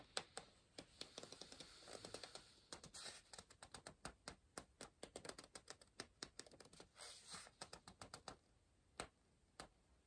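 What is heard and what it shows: An orange pencil tip scratches and taps rapidly on the paper page of an open softcover word search book resting on a pillow. Quiet, bright, dry clicks of around 45 taps come in quick succession, with soft scratching hiss in the first few seconds and again near seven seconds. The taps thin out toward the end.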